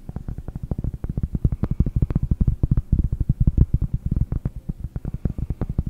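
Long nails tap rapidly on a round solid cork disc held in both hands over the microphone, giving about 44 quick, dull knocks. The taps are deep and muffled, sitting low around 117 Hz with almost no high end, and each dies away almost instantly.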